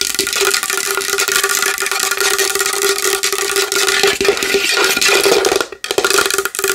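Long nails tap quickly and continuously on a large wooden bowl, making a dense stream of bright, clicky taps over a steady hollow resonance near 400 Hz. The tapping runs without a break until a brief gap near the end, then resumes at the same pace.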